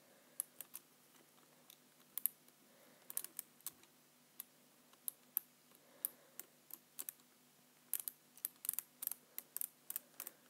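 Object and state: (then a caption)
Plastic computer keyboard. Fingertips press and tap the keys of a black full-size plastic computer keyboard resting on a white surface, in a typing motion. About 31 quiet, sharp, bright clicks come in an irregular rhythm, with short gaps early on and a denser burst toward the end. Each click dies away almost instantly over a faint, steady low hum.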